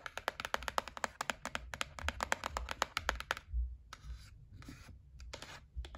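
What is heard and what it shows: A held white printed cardboard gift box is tapped and scratched with long nails. A quick, uneven run of sharp, dry clicking taps fills the first half, then gives way to softer scratching swishes and a few scattered taps. The sound is close and quiet, with little ring.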